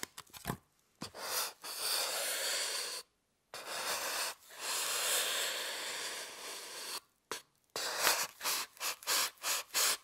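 A small pointed metal tool scratches lines into the top of a rectangular, solid white styrofoam block held steady by hand. Long, bright, hissing scrapes give way to a run of short, quick strokes, each with a dry, squeaky texture and almost no low end.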